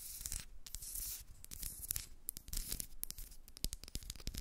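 Long red nails rapidly tap and scratch the casing of a small, white, rectangular, hollow plastic Sheglam highlighter stick with a cap, held in both hands. The result is a dense run of crisp, bright clicks mixed with dry, scratchy rubbing and soft low thuds.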